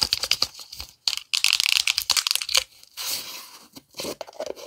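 A black plastic pre-workout tub with a yellow lid, hollow and partly filled with powder, is tapped and scratched with long nails. Quick, bright clicking taps alternate with dense, crackly scratching in an irregular rhythm, with short silent gaps between bursts.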